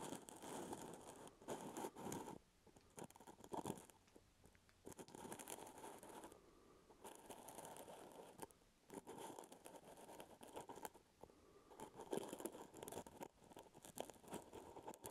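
Fingertips scratch and tap the brown plastic lid of a full plastic peanut butter jar close to the mic. Dense, crunchy scratching in bursts is broken by short quieter gaps and scattered sharp taps, with a mid-range body and a faint high hiss.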